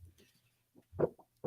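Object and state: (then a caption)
Heavy 110 lb card stock. A sheet of heavy 110 lb card stock is flexed and shaken to contrast it with lighter 65 lb stock. It gives a few low, deep papery rumbles and flaps, with the loudest bursts near the end.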